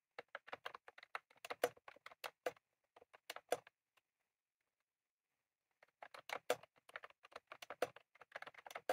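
Both hands type rapidly with their fingertips on a full-size retro-style plastic mechanical keyboard with round cream plastic keycaps and a plastic case, resting on a desk. Quick, crisp, mid-pitched clacks come in dense bursts, with brief, dry taps that barely ring. The typing stops for nearly two seconds of silence, then resumes in an even, steady flurry.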